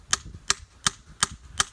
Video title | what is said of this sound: How to make maple syrup 4k video | you're going to tap till you hear a real dull thud. You'll hear it coming.